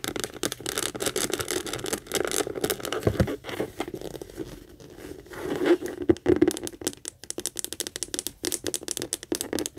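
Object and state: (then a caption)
Leather handbag. Long acrylic nails rapidly tap and scratch the stitched flat base and handle of a hollow, medium pink saffiano leather handbag. The result is a dense stream of fast, dry taps and scratchy, crinkling rasps with a muffled mid-low body around 300 Hz and almost no ring. There is a softer stretch of scratching around the middle, then sharper bursts of tapping.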